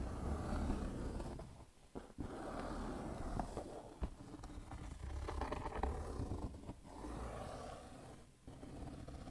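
Fingertips and nails rub and scratch across the lid of a closed, black-printed cardboard shoebox lying flat on a tiled floor, the hollow box holding shoes inside. The result is a dull, low rumbling scrape that runs almost continuously, with a few brief dips and soft taps between strokes.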